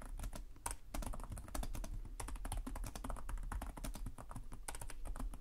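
Both hands type rapidly with short-nailed fingertips on the plastic chiclet keys of a black laptop resting on a desk. A steady stream of quick, bright key clicks sits over a soft low thud from each press, and every tap dies away almost at once.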